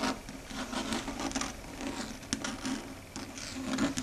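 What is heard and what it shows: Long red stiletto nails rapidly tap and scratch across a large, flat, dark gray chalkboard, a solid flat board. The result is a continuous scratchy, rasping rub with a steady low hum around 270 Hz. Sharp, bright clicks cut in from the quick taps.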